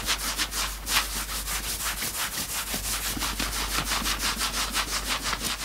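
Both hands grab and scratch the grey front fabric of a worn knit sweatshirt. Fast, bright, scratchy rubbing strokes repeat about three times per second in a steady, continuous texture with little low end.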